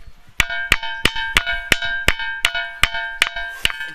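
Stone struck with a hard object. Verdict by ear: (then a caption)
Ringing. An old stone at the Kakon Sarkar Hanuman temple is struck ten times at different spots, giving a bright, metallic, bell-like ring around 3 kHz with a sharp attack and a short ringing tail after each hit. Each strike sounds the same, like the bells hung in temples; legend says the stone once served as a bell heard about 100 km away.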